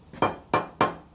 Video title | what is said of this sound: Slabjacking the garage floor in the shop - home ownership is fun!!! | Before, when I would tap on it, it sounded really hollow underneath. But now it's got a little more sound to it